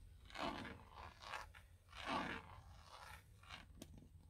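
Long painted acrylic nails and fingertips tap and scratch the hard plastic airbag cover, with its chrome logo badge, on the centre hub of a car steering wheel, which is fixed in the car and hollow behind. Dry, crunchy scraping strokes come in uneven bursts with mid-range body and some brightness. One sharp click near the end stands out over a soft low background hum.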